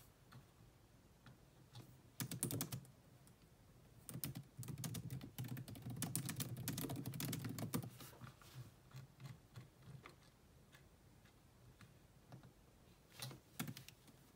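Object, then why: Laptop keyboard with plastic keys. Fast typing with long nails on the black plastic chiclet keyboard of a grey laptop. Quick, dry clicks come in bursts: a short flurry early, a dense run in the middle and another brief flurry near the end, with quieter scattered taps between. The clicks are soft, low-weighted and die away almost at once.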